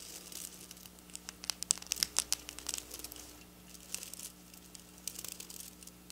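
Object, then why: Plastic sequin fabric scratched with fingernails. Long black nail tips scratch and pick at silver plastic sequin fabric lying on a counter. Dense bursts of bright, crisp clicking and crinkling come in clusters, loudest near the middle, over a faint steady low hum.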